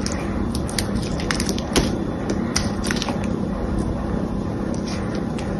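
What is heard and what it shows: A small knife blade scores and scrapes a solid rectangular bar of green soap held in the fingers, cutting a crosshatch pattern and chipping pieces off the surface. Crisp, irregular scratching clicks and crackles sit over a steady low background rumble, with one slightly louder snap near the middle.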